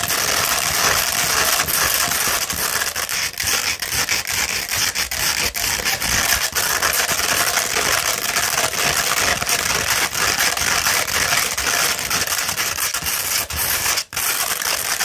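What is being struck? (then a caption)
Coarse sandpaper sheet scratched with fingernails. A sheet of coarse 60-grit sandpaper, rolled into a cone, is scratched and tapped with long red nail tips. The result is a steady, dense, bright gritty scratching with faint quick ticks throughout and a brief near-silent dip just after 14 seconds.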